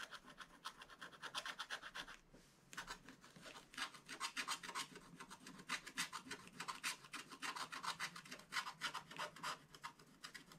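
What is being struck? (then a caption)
Wax-coated scratch-art paper scraped with a wooden stick. The pointed tip of a thin wooden stick, held in the fingers, scrapes the black wax coating off a page of a spiral-bound scratch-art book lying flat. Quick, dry, bright scratching strokes come in a fast, uneven rhythm, with a brief pause just after the two-second mark. Each stroke stops short with almost no ring.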